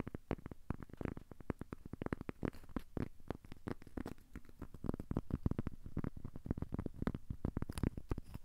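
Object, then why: Cork coaster. A thin, solid, square cork coaster is held in both hands and scratched and tapped with short fingernails and fingertips. The result is a quiet, steady stream of rapid, dull taps and soft scratches, mostly low and muffled, with each tap dying away instantly.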